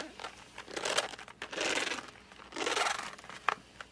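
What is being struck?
Cardboard pencil box.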